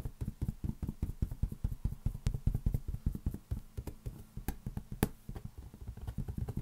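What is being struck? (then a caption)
Inflated latex rubber balloon. A large inflated green latex balloon, hollow and air-filled, is held in one hand and tapped with the fingertips of the other. Rapid, irregular dull thumps with almost no ring sit deep in the low end, with an occasional sharper, brighter tap.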